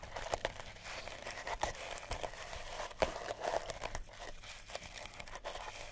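Long natural nails scratch a small, solid oval cat toy wrapped in pink, purple and cream sisal rope. The result is a quiet, dry, crinkly rasping with short, sharp scrapes that pop out above a steady fibrous hiss, centred in the mids with bright edges.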